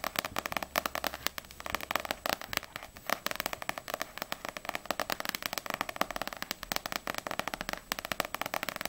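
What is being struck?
Paperback book with glossy paper cover.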